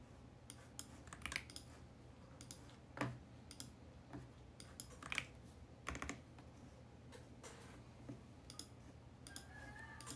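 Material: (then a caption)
Plastic. Fingertips press keys on a compact VGN X68 mechanical keyboard with plastic keycaps on a mint plastic case, typing at an uneven pace. Each keystroke is a short, dry, bright clack that dies away almost instantly, with a few louder strikes among softer ones. A quiet, steady low hum runs underneath throughout.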